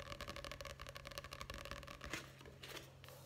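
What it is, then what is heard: Paperback book. Fingertips tap fast on the open paper pages of a paperback book with a card cover, held upright, then move to the cover. The result is a rapid run of soft, dry, papery taps with a bright edge over a steady low hum, and the taps thin out toward the end.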